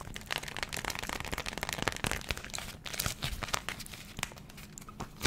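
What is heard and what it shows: A small, thin and flexible sheet of hexagon-print cotton fabric coated in beeswax, used as a food wrap, is held in both hands close to the microphone and crinkled and scrunched with fingers and long nails. It produces a dense, continuous run of bright, crackly crinkling with short sharp snaps and a faint low rumble underneath.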